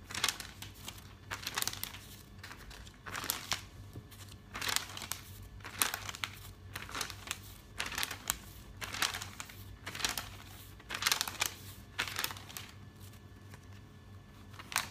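Fingertips grab and flip the glossy printed pages of a thick, open paper catalog. Bright, crisp crinkling and rustling swells with each page turn, separated by brief quieter pauses over a faint low background hum.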